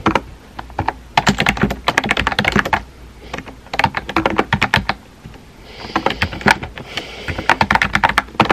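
Fingertips type rapid key taps on a small pink and white plastic keyboard with round plastic keycaps and a hollow body. The clicks are sharp and short, with bright, clacky tops, and come in bursts separated by brief pauses.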